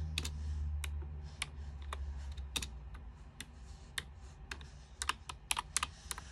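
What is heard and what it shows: Long-nailed fingers type fast on a white plastic full-size backlit keyboard with its lights on, producing a rapid, irregular sequence of about sixteen sharp, bright clicks and taps. The taps stop almost instantly, over a steady low hum.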